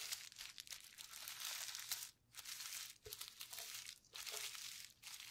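A flat clear plastic bubble wrap sheet with hollow bubbles and mixed paint lies on a table while gloved fingertips press, rub and pinch the bubbles. Quiet, bright crinkling and crackling plastic sounds come in bursts, separated by brief near-silent pauses.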